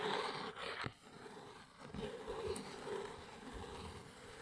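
Long acrylic nails scratch and tap the top of a small brown corrugated cardboard Arteza basswood blocks box, likely holding wood blocks, resting on a fluffy rug. A steady, dry, papery scratching with a hollow tone around 500 Hz runs throughout, broken by one sharp tap near the first second that dies away quickly.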